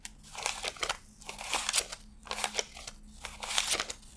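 Fingertips flick and rub thin US $100 paper bills one by one off a handheld stack, laying them onto strapped stacks. The bills give bright, crisp crinkling and rustling bursts in three quick runs of dry snaps with almost no low end, over a faint steady low hum.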